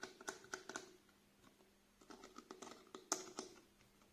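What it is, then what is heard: Plastic bottle tapped with nails. Fingernails tap and scratch a small clear plastic "Cool Clear" cleanser bottle, partly filled with green-tinted liquid and held sideways. Quick, bright, clicky taps with a faint hollow ring come in two bursts separated by a quiet pause. Light scratching rasps run between the taps.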